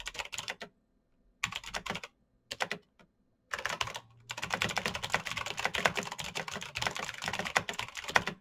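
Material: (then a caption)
Plastic. Fingertips type fast on a black Razer BlackWidow mechanical keyboard with plastic keycaps on clicky green switches. Short bursts of sharp, bright clicks are broken by pauses, then become a steady rapid clatter from about three and a half seconds to the end. Each click stops almost instantly with no ring.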